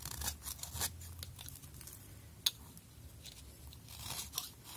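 A utility knife blade scrapes shavings off a thinned pink soap bar held in the hand. Soft, crisp, bright scraping and crunching strokes come and go over a low background hum, with one sharp click standing out partway through.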